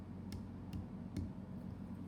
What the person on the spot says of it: this is going to sound more like a thud if i tap it